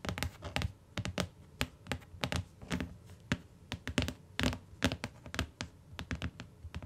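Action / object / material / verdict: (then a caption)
tap / hardcover book with cardboard cover / cardboard / none. Long nails tap the cover and edge of a closed tan hardcover book with a cardboard cover lying on a fur rug, then fingertips tap the cover. About 28 quick, irregularly spaced taps are heard, each a short dry knock with a low, hollow thud under a bright clicky edge. Each tap dies away almost at once.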